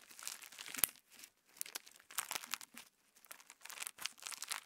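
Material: Slime, plastic.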